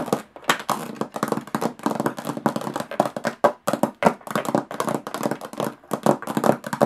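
Long nails tap rapidly on the textured lid of a closed, hollow aluminum carry case. The taps are dense, short and dry, with a slightly hollow, tinny midrange knock and very little ring or low end. They come in uneven bursts with brief pauses throughout.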